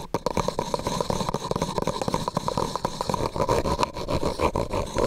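A medium, hollow, empty white disposable plastic cup held over the microphone is tapped and scratched with fingernails. The result is a rapid, dense run of short clicky taps and scratchy scrapes with a hollow, plasticky ring near 1 kHz.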